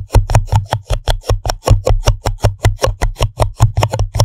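Fingertips and long nails tap and scratch the bottom and sides of an empty, hollow pink printed paper cup held upside down over the microphone. About 22 quick, fairly uneven taps give hollow, deep thumps, each with a short papery tick on top, and they die away almost at once.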